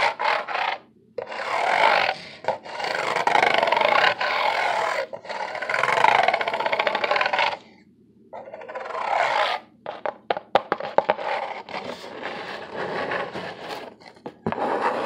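Fingertips and nails scratch and rub across the ridged surface of a large, flat, brown corrugated cardboard sheet held upright, thin and hollow-fluted. Long bursts of dry, bright rasping scrape sound, broken by short silent pauses. Toward the end they turn into quicker, sharper ticking scratches.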